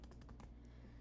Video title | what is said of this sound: 🔴Live Stream - Sonic Cake Decorating Tutorial | It like dries out a little on the outside, so I don't know if you can hear it tapping, but it's nice and firm